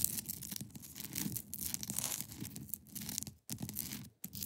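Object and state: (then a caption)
Ice block scratched with nails. Long pointed nails scratch across the top of a large, solid, clear ice block resting on a fabric surface. The result is a dense, continuous, bright scraping texture with a low rumbling undertone, broken by two brief silences near the end.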